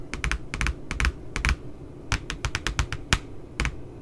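Long nails tap along the lower edge of the glossy paper back cover of a spiral-bound puppy notebook, making about 18 quick, dry clicks in irregular bursts. Each tap is short and bright with a soft low thump beneath, and stops almost at once.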